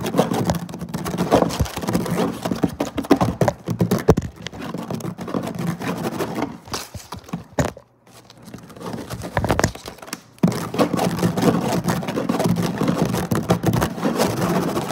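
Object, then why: Woven plastic-fibre placemat. Fingertips and short nails rapidly scratch a flat woven placemat made of synthetic fiber, mixed with some rubbing strokes. The result is a dense, fast, dry scratching and pattering texture, mostly low and mid in tone. A brief near-silent pause falls around the eight-second mark before the scratching resumes, then picks up strongly again just past ten seconds.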